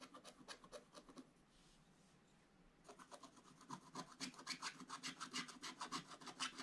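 A wooden stylus scratches fills into a black coated scratch-art paper page lying in an open book. Quick, bright, raspy strokes come about three to four per second, pause for over a second with only a faint hiss, then return denser and louder until the end.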